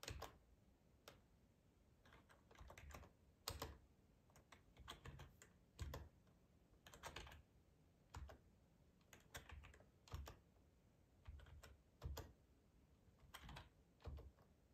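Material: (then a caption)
Plastic. Fingertips type slowly on a black plastic ergonomic split keyboard with a hollow housing, resting on a cloth tablecloth. Soft, dull key clacks with a low, thuddy body come in irregular clusters separated by quiet pauses, each tap dying away almost instantly.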